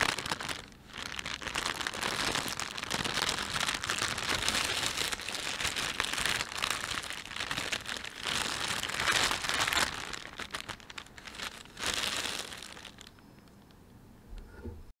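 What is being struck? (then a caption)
Thin plastic shopping bag. A thin, empty panda-print plastic shopping bag is rubbed and crumpled by fingertips, giving a steady, dense crinkling with bright, crackly highs. The crinkling swells and fades in bursts, then drops to near quiet after about 13 seconds, with a few faint rustles at the end.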